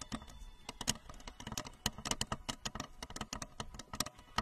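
Long acrylic nails tap rapidly on the curved shell of a tall, hollow, blue translucent plastic rocket-shaped lamp with a red plastic base, set in front of the microphone. The result is a quick, uneven patter of sharp, bright clicks, each with a short hollow knock around 210 Hz, dying away almost instantly.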